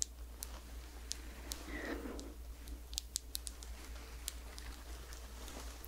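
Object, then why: Small glass jar with plastic lid. A small round glass face cream jar with a white plastic lid is held close to the mic while long nails tap and scratch the lid and jar. Sharp, bright clicks are spaced out over a soft scratching rustle, and a steady low hum sits underneath.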